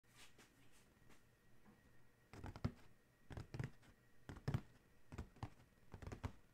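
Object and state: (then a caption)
Cardboard shoe box. A large, hollow black Adidas cardboard shoe box with its lid closed lies on a towel while the fingertips and short nails of both hands tap and trace over it. Soft tracing gives way to clusters of dull, low, hollow thuds with quick decay and faint scratchy tracing between them. The taps come in an irregular, gentle rhythm at a quiet level.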